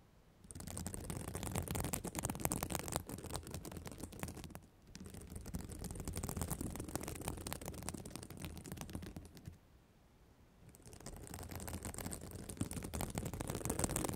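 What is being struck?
Plastic sequin fabric cover.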